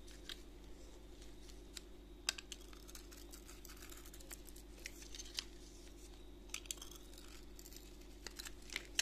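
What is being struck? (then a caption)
Glitter-coated bar soap and knife blade. A utility knife blade scrapes a solid gold glitter-coated bar soap held in a gloved hand, exposing the white soap underneath. The result is a quiet run of soft, bright scratches and crackles, with several sharper clicks over a low steady hum.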